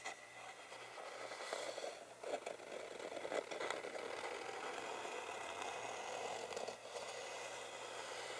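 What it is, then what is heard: Wooden box lid, scratched and tapped. Fingertips and short nails tap and scratch across the lid of a flat, rectangular, hollow wooden tangram box with visible wood grain, then the hands settle on the box edges. The result is a quiet, steady, dry scraping rustle centred in the mids around 580 Hz, with a bright, airy texture and a few slightly louder taps and scratches mixed in.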